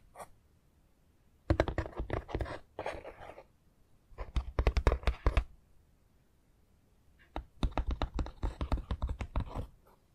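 Fingernails tap rapidly along the roof of a long, hollow wall section from a foam board Harry Potter 3D puzzle, built from foam-backed printed pieces and lying on a dark mat. Bursts of quick, dull, dry clicks come in several runs separated by short pauses, each tap dying away almost instantly with no ring.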